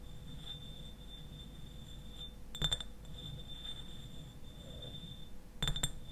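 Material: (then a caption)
Glass. Fingernails tap and scratch the sides of a clear glass eyewash bottle that stands upright and is partly filled with liquid. Two short bursts of quick, bright clinks stand out over a soft scratching rustle and a steady high tone, each click dying away almost instantly.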